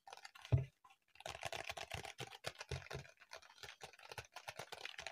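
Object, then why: Notebook with embossed plastic cover. Fingertips and short nails tap and scratch a medium-sized notebook with a pink-iridescent plastic cover embossed with raised dots, held upright in both hands. A quick run of soft, dull clicks and rustling scrapes follows, opening with one louder knock before a quiet pause. The rapid tapping then carries on steadily to the end.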